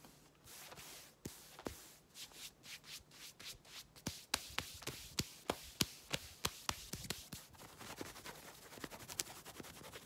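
Long red-painted nails scratch and rub fast across light-blue denim jeans worn over the leg. Bright, dry scratching swishes speed up into a rapid, uneven series of sharp clicking scrapes, then settle back into quieter fabric rubbing.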